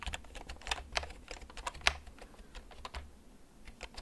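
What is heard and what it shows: Fingertips tap the keys of a black plastic backlit computer keyboard held close to the recorder, typing slowly and unevenly. Each keystroke gives a short, bright plastic click with a clipped, dry decay over a faint low hum. The loudest clicks land near the middle of the clip.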